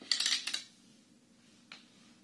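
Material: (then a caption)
Wood. A Chinese abacus with a dark wooden frame and red wooden beads on rods is held at both ends and tilted or shaken so the beads slide and clack. A bright rattling burst is followed by two quick clacks and, after a pause, one softer clack, each dry and short with almost no ring.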